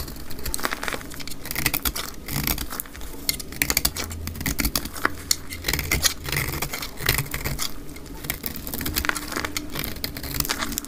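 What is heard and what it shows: A solid, translucent, dry amber soap bar held in the hand has curly flakes scraped off it with a utility knife blade, sped up to twice normal speed. Dense, rapid crackling scrapes with bright, crisp edges sit over a steady low rumble and continue throughout.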